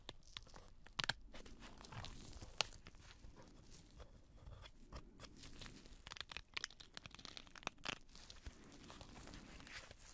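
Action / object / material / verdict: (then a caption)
shake / pleated paper fan with plastic sticks / paper / none. A small folding paper butterfly fan, with pleated printed paper between two green plastic handles, is held in black nitrile-gloved hands. It is fanned open and folded closed, so the paper pleats crinkle and rustle in quiet, bright, crunchy bursts. Sharp crackling snaps are scattered over a soft low rustle.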